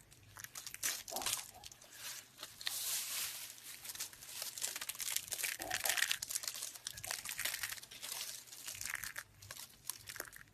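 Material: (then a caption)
Soap. A pile of thin, brittle, dried pink soap shavings is pressed flat and crushed under the palms and fingers. Dense, crisp crinkling and crunching crackles run through the whole clip in quick overlapping bursts, bright and high with almost no low end. Each crackle stops dead, leaving no ring.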